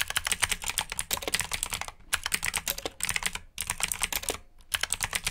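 Fingertips type rapidly on the keycaps of a black plastic mechanical keyboard with blue switches, producing dense bursts of sharp, bright clicks. The clicking comes in about four runs separated by brief pauses, with very little low end and no ring after each keystroke.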